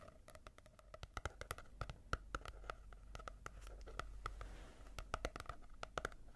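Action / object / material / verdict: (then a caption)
tap / small paperback book with matte cover / paper / none. Long nails scratch and tap a rapid, irregular series of short, dry clicks across the matte cover of a small paperback manga volume. The clicks carry a hollow midrange tone and die away almost at once, over a faint low rumble and soft scratching between them.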